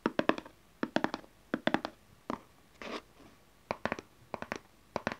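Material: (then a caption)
Cardboard. Long nails and fingertips tap and scratch the cover of a small, dark, closed cardboard tarot card deck box lying on satin cloth. Quick clusters of crisp, dry taps alternate with a couple of brief, hissy scratches. The taps have a hollow, papery knock and almost no ring.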